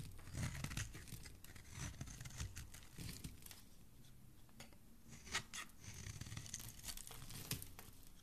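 A metal knife blade scrapes long shavings from the flat face of a solid green bar of soap held in the hand. The sound is a soft, dry, crinkly scraping with a papery, tearing texture and a low rumble underneath. Bright, sharper crackles stand out near the middle and toward the end.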